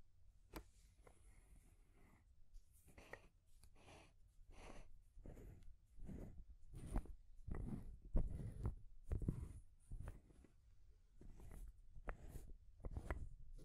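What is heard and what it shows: Long grey nails tap and scratch a small rainbow wooden stacking ring toy with solid painted wooden rings and a natural wooden ball on top. The result is a quiet series of short, dry taps mixed with soft scratching, with most of the energy low and each tap dying away almost at once.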